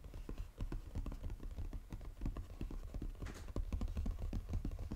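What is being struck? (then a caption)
Paperboard chocolate box. Fingernails tap fast across the lid of a flat brown Godiva paperboard chocolate box lying flat. The result is a dense run of quick, dull, hollow taps with a low, thumping body. Each tap dies away almost at once.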